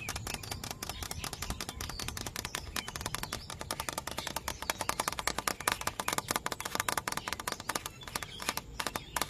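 Fingertips tap rapidly on a hollow yellow bamboo culm near a node, with the hand wrapped around the stalk. The result is a steady stream of short, dry, clicky knocks with a hollow midrange tone, while birds chirp faintly in the background.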